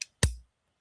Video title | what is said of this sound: POP UP THURSDAY.......!!!!! | You hear that solid sound, folks? That's the click